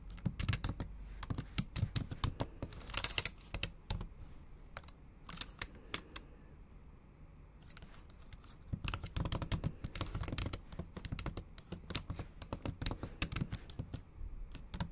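Long acrylic nails type fast on a MacBook Pro's black plastic keys set in an aluminum body. Rapid, bright clicking taps with a low thump run in dense bursts, easing into a quieter, sparser stretch in the middle before resuming at full pace.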